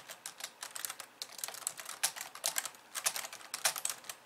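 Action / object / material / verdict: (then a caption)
tap / plastic computer keyboard / plastic / none. Two hands type on a pink plastic computer keyboard with white keys, using long painted nails and fingertips. The result is a quick, uneven stream of bright, crisp clicks and taps that die away almost instantly, with almost no low end.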